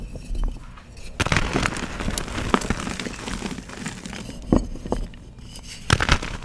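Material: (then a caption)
Chalk. Fingertips with short painted nails crush and rub a solid pressed gym chalk donut into powder over a tray of loose chalk. Dense, gritty crackling and crunching fill the clip, with sharper snaps near 1.2, 2.5, 4.5 and 6 seconds. Fine bright crumbling rises through the crush between the bursts.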